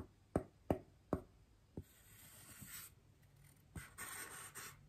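A large white solid styrofoam wreath ring, held by hand, is gently brushed with the bristles of a small paintbrush. Four short, dry taps come first, followed by soft, airy swishes of brushing with a bright, hissy texture that swell and fade over the quiet.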